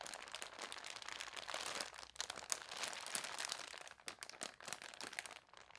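Long nails scratch and rub across the front page of a folded newsprint newspaper on a table, using both hands. Dense, dry crinkling and crunchy scraping fill the clip, bright and papery with almost no low end, with short sharp scratches that stop dead and a brief quieter dip near the end.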